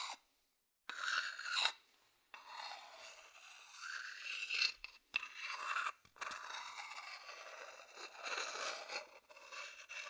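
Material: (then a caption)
Wood. A thin wooden stick scratches along the outer side of a medium hollow wooden bowl, producing a dry, rasping scrape in bursts separated by brief pauses. The sound is bright and airy with almost no low end, swelling and fading as each stroke drags across the wood.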